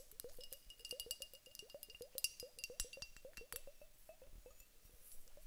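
A teardrop-shaped glass vase filled with clear water beads is held in the hands, shaken, and tapped with long acrylic nails. The result is a quick, steady stream of short, bright glassy clinks and ticks, each with a little low squishy thump beneath it. The level stays soft throughout.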